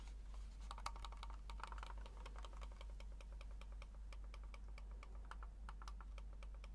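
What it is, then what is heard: Plastic computer mouse. A small black plastic wireless mouse is held in the hands while the fingertips click its buttons repeatedly. The result is a quick, uneven stream of sharp, bright clicks with a midrange tone, over a steady low hum.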